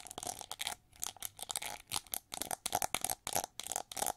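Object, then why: Ridged plastic hair brush. Long nails scratch and tap the ridged back of a gold-plated plastic winged hair brush. A rapid series of short, bright, scratchy bursts rises and falls, with a faint steady tone near 730 Hz running underneath.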